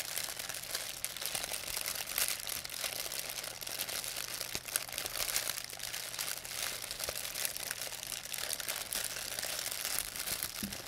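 An empty, thin white plastic pharmacy bag is crumpled between fingers with long painted nails. It gives a steady, bright crinkling with dense crackles and no real pauses, mostly high in pitch with almost no low end. A faint low hum sits underneath throughout.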